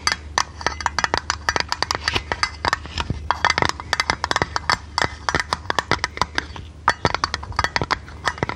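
Long red nails tap and scratch a thin, hollow, printed blue tinplate lid from a tea canister held in the hand. The result is a quick, irregular run of sharp, bright metallic clicks that ring briefly near 1.2 kHz, with soft scratchy rasps between them over a faint low hum.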